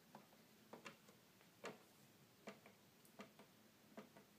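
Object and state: Plastic toy keyboard keys tapped.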